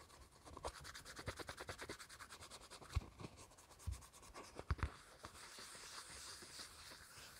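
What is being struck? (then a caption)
Thin plastic flower-shaped dish. Fingertips and nails scratch and tap the rim and bottom of a small, thin, hollow green plastic flower-shaped dish with scalloped edges, held in the hands. A quick, rhythmic run of light dry scratches is broken by a few sharper, louder taps near the middle. It then settles into a softer, steady rubbing hiss with a bright edge.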